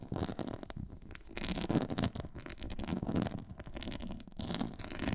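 Long nails scratch across a black quilted, pyramid-textured faux leather board. The scratching makes a dense, continuous rasp with a heavy low rumble and quick, ticking grain, rising into brighter, louder scraping passes before easing off.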